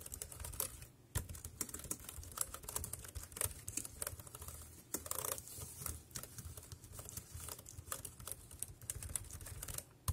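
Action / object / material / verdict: tap / plastic compact keyboard / plastic / none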